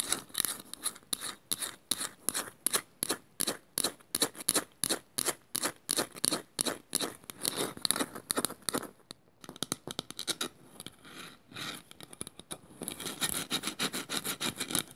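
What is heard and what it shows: Long nails scratch the painted inside of a small, empty, hollow woven bamboo bowl in quick, evenly spaced strokes that sound dry, bright and raspy. After a brief pause, the nails move to the woven outside, and the scratching turns denser and rougher with a busier, continuous texture.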